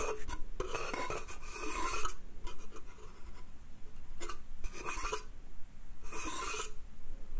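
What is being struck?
Small pine slatted crate.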